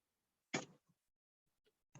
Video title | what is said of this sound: Ovana Pizza Party | you hear the crisp sound